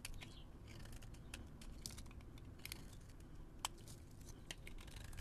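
A solid white bar of soap with a dark rim, held in the hand, is scraped with a metal blade that peels off fluffy shavings. Quick, dry, crackly scrapes and clicks come in an uneven run over a low steady rumble, with a few sharper bright snaps standing out.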